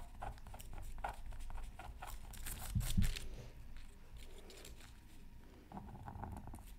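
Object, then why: Scratch art paper sheet scratched with a wooden stylus. A pointed wooden stylus, held in the fingers, scratches a thin black-coated scratch art card with colour beneath, from a Mythical Creatures Super Scratch Art Pad, lying flat on a mat and partly covered by tissue paper. The scratching comes as a quick run of short, dry, bright strokes over a steady low rumble, with a louder pair of bumps near the middle.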